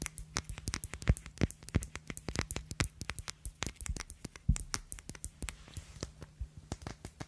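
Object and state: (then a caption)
Glass perfume bottle tapped with nails. Long acrylic nails tap and scratch the glass faces of a small black glass Si perfume bottle with a glossy black cap, held close to the microphone. Dozens of quick, dry clicks with bright edges patter at an uneven pace, mixed with soft scraping, over a faint steady low hum. Each tap dies away almost at once.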